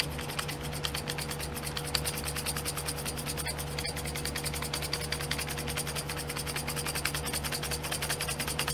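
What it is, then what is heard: Plastic glitter pot tray. Long fingernails tap and scratch quickly across the lids of small clear domed plastic pots full of glitter, set in a pink plastic tray. The result is a dense run of sharp, bright clicks and rasping scrapes over a steady low hum and a faint constant tone.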